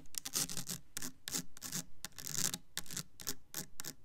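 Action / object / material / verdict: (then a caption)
scrape / plastic soap bottle / plastic / none. Long nails tap and scratch the side panel of a Bath and Body Works Kitchen Lemon clear plastic foaming hand soap bottle full of yellow liquid. Irregular bursts of bright, hissy scraping mix with soft, low plastic taps.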